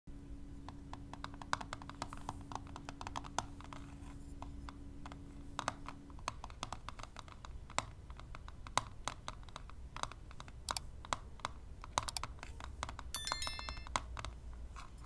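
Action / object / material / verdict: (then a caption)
tap / plastic eyelash palette with clear lid / plastic / none. Long manicured nails tap and touch the clear plastic lid of a flat rectangular eyelash extension palette holding lash strips, lying on blue velvet, while the same hand holds metal tweezers. Quick, dry, bright clicks and ticks patter unevenly and quietly throughout, over a faint low hum that fades out after about six seconds. A brief bright, tonal chirp rises among the taps near the end.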